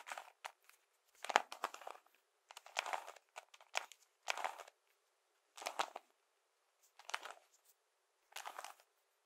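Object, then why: Plastic brick-covered puzzle cube. A hand-sized puzzle cube covered in colored plastic Lego bricks is held in both hands and tapped and scratched with the fingertips and nails, with some twisting of the cube. Quiet, crisp clicking and scratchy crinkling come in short bursts separated by brief silences, bright with almost no low end and no ring after each burst.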